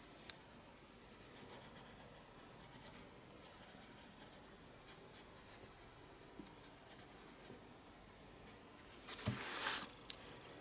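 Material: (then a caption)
Paper. A pencil held in the fingertips draws fine strokes on the page of a small spiral paper sketchbook lying flat on a desk. Quiet, bright, papery scratching runs steadily throughout, with a few faint ticks of the lead. Near the end it swells into a louder, denser burst of scratching before settling back.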